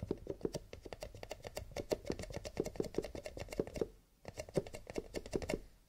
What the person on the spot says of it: Tapping on cardboard / paper cups, with a little bit of scratching